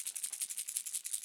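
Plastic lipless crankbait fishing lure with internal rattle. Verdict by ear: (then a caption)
Loud. A plastic Red Eye Shad lipless crankbait fishing lure is shaken so its internal rattle sounds, much louder than the previous lure's. About twelve quick, bright, high-pitched clicks come in a steady shaking rhythm, with almost nothing in the low end.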